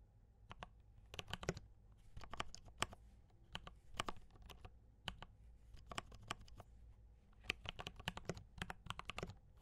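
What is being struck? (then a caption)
Mechanical keyboard with plastic keycaps. Fingertips type steadily on a compact D84 mechanical keyboard with brown switches and cream and red plastic keycaps. Bursts of short, sharp clacks and taps come in quick clusters with brief pauses between them. A faint low hum runs underneath the whole time.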